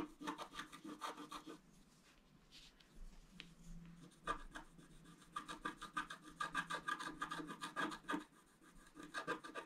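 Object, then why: Black-coated scratch-art paper card scratched with a wooden stylus. A wooden stylus scratches and rubs the basin section of a flat black-coated scratch-art paper card held in the fingers. Quick, dry scraping strokes come in a fast, uneven series, with a raspy, papery texture. The strokes briefly soften into quieter rubbing before picking up again in dense bursts.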